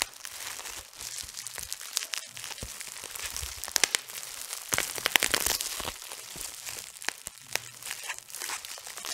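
A large, light, thin and flexible sheet of clear plastic bubble wrap, draped over a woman's head, is crinkled and rubbed by fingertips at the edges near her face. The result is a steady, bright, dense crinkling with quick, sharp crackles that grow louder and busier midway through before settling back to a softer rustle.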